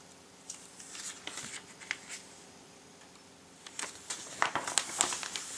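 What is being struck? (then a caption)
Thin glossy paper catalogue pages. Fingertips lift, flip and rub the thin glossy pages of a large printed Christmas catalogue lying open on a table. Soft, bright, crinkly paper rustles come in short bursts, pause in a quiet stretch in the middle, then return busier and louder toward the end.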